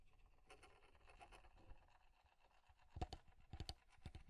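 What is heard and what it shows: Nails and fingertips tap and scratch along the curved wooden side and front of a small, square, solid light-wood alarm clock held close to the mic. Soft, bright scratching patter fills the first half, followed by sharper, quick-dying taps with dull low thuds near the end. The clip is quiet throughout.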